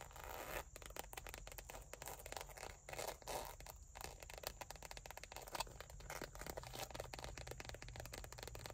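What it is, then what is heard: Leather wallet scratched by nails. A small dark brown textured leather wallet, lying flat with cards inside, is scratched and rubbed by long nails across its surface. The result is a quiet, continuous run of dry, rapid scratching strokes with a bright hiss and a low rumble underneath.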